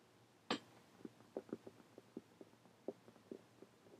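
Long painted fingernails tap and scratch the cover of a closed, dark hardcover journal with a birdcage print, lying on a table. A sharp, bright first tap is followed by a run of softer, muted taps with a dull low-mid tone and very short ring. Faint scratchy texture sits against a quiet background.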